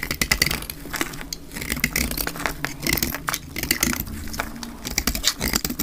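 A solid rectangular dark green bar of hard, dry soap, held in the hand, is scraped and cut with a metal utility blade. The result is a rapid run of crisp, dry scraping and crackling bursts with bright high edges and a tone around 2 kHz, over a faint low rumble.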